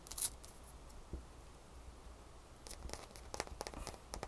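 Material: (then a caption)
Ice. A small, solid, crescent-shaped ice cube is held between the fingers and tapped and scratched with long manicured fingernails. A sharp bright click opens the clip, followed by a quiet stretch with a soft low hum. Then a run of quick, crisp taps and scratches builds toward the end.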